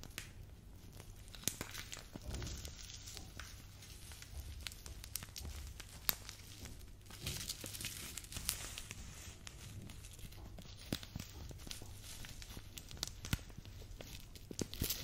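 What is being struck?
Plastic bag of glitter sequins.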